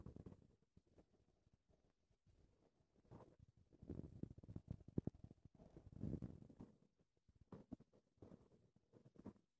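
Long red-painted nails and fingertips scratch a soft, porous black foam windscreen on a recorder microphone while the hands cup the foam. The result is quiet, muffled, low-heavy scratching and rubbing in uneven bursts, with brief pauses between them.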